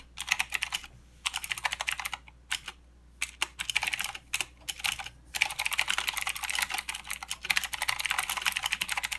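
Fingertips from both hands type continuously on a full-size mechanical keyboard with plastic keycaps and blue clicky switches. Rapid, bright, sharp clicks come in bursts with brief pauses between, each click dying away almost instantly. A faint low hum sits steadily underneath.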